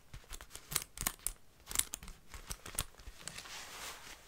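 Long light-blue nails scratch and tap along the cuff of a black, possibly faux, leather jacket sleeve and over its gold metal zipper. Quiet, bright, crackly scrapes are broken by sharp, clicky taps at an uneven pace, and the clip ends in a softer, hissy rubbing.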